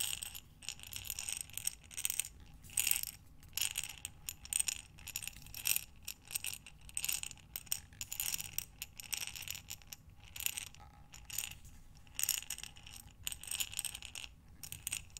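A glass mason jar with a metal lid, filled with buttons, is held sideways and rolled and tilted by hands with long dark nails. It gives a gentle rattle: bursts of bright, high clicking and clattering with very short ring and little low end.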